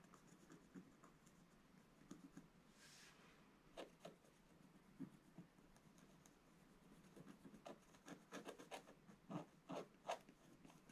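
A wooden stylus scratches across the upper and middle areas of a flat, black-coated scratch art card. Quiet, dry, irregular scraping strokes come in short bursts, with one brief breathy hiss early on. Sharper, louder scratches cluster toward the end.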